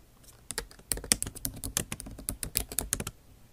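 A MacBook Pro's backlit keyboard, with bare plastic keys set in an aluminum body, is typed on with the tips of long acrylic nails. The result is a quick run of sharp, bright clicking taps that die away almost instantly, with a soft thud underneath.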